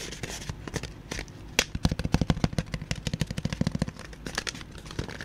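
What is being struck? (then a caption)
Folded cardboard cutout. Fingertips tap and drum on a flat, folded tan cardboard cutout in a Labo style, with punched holes and a teal tab, empty and hollow and held in front of the microphone. Soft, scattered taps build into a quick, steady run of dull, hollow thumps that are heavy in the low end and die away almost instantly. A few faint, brighter papery crackles are mixed in.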